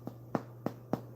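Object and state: Bread roll baked through (hollow sound).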